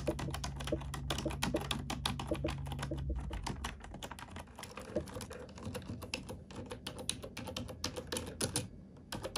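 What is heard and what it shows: Fingertips and nails type on a black plastic computer keyboard in a fast, uneven stream of sharp, bright clicks and taps. A steady low hum sits under the typing for the first three and a half seconds, then drops away, leaving the key clicks more exposed.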